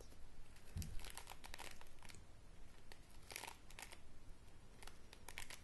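A wooden hairbrush with bristles is held horizontally while long grey nails scratch and rake through the bristles. The result is soft, crinkly, scratchy bursts of bright rustling that come in irregular clusters over a quiet low rumble.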